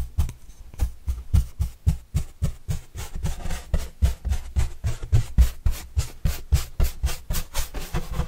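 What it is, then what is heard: Cardboard box brushed. A pointed paintbrush is brushed over the surface of a large, flat, hollow white corrugated cardboard pizza box with green edges, held upright. About 28 quick, fairly regular strokes are heard, roughly four per second. Each is a soft, dull rubbing swish with a low, hollow thump and a faint bright hiss that dies away almost at once.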